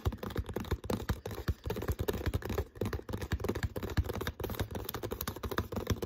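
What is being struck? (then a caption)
Plastic water bottle. Fingertips and nails rapidly tap and scratch the green label and body of an empty, hollow, clear plastic water bottle with no cap. The result is a dense, continuous run of short, dull, hollow thumps and soft scratches, mostly low in tone with very little brightness.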